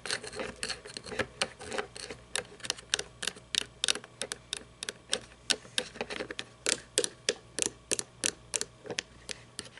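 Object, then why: Plastic toy truck. Long fingernails tap and scratch the painted body of a small red toy monster truck with plastic and chrome parts, lying on its side or roof on a table. About 38 short, bright clicking taps come in an irregular rhythm, each dying away almost at once, with faint scratchy texture between them.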